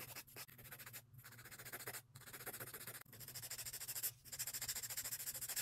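The edges of long acrylic nail extensions on a hand are filed with a grey emery board in quick back-and-forth scratching strokes. The result is a bright, dry rasp that pulses rhythmically, with brief pauses between bursts of filing and a faint low hum underneath.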